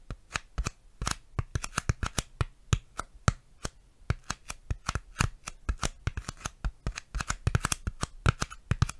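A piece of styrofoam is tapped and handled close to a microphone, giving a rapid, uneven series of short, dry taps. Each tap is a sharp click with a soft low thump and bright crackly edges, dying away almost at once, with faint rustling between taps.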